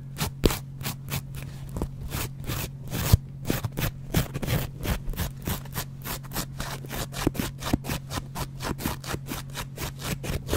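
A double-edge metal razor blade scrapes repeatedly across the yellow foam face of a dry kitchen sponge with a green scouring layer, held in the hand. A rapid, steady series of short, dry, scratchy strokes plays over a constant low hum.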